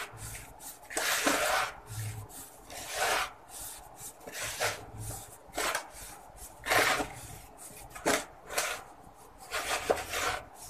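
Bare hands and fingertips squeeze, crumble and rub loose, dry, powdery red soil with small crumbly clumps heaped in a large yellow plastic bowl, letting fine dust fall back into the bowl. The result is a series of soft, gritty rustling and crunching bursts with a bright, hissy texture, separated by quieter sifting between handfuls.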